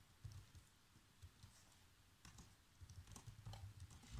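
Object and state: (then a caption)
Plastic laptop keyboard. Fingertips with short nails type fast across the keys of a black plastic chiclet laptop keyboard. Quiet, irregular taps come through as soft low thuds with brief bright clicks on top, each dying away almost at once.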